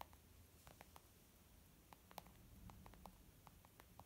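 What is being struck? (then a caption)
Leather zip pouch. Fingernails and fingertips tap near the lower edge of a white textured leather zip pouch used as a makeup bag. The result is a run of quick, light, dry clicks with no ring, each a brief mid-pitched tick over a faint low background rumble.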